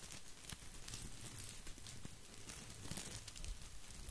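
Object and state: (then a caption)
Artificial plastic boxwood ball. An artificial plastic boxwood topiary ball is held close to the microphone while fingers rub and scratch its plastic leaves. A soft, steady crackling rustle runs throughout, with brief bright ticks and snaps scattered over a low rumbling base.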